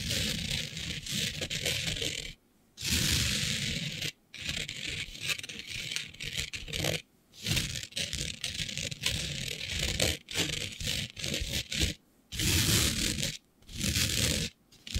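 Long nude nails scratch across a flat sheet of black fabric covered in fine green glitter. Bursts of bright, gritty rasping and rattly scraping fill the sound, broken by short silent pauses between strokes.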